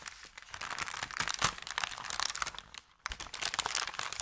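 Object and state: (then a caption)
Paper bakery bag. Fingertips scrunch, rub and press an empty, thin brown kraft paper bakery bag flat. The result is dense, bright crinkling and crackling with sharp little snaps. It pauses briefly near silence just before the three-second mark, then resumes.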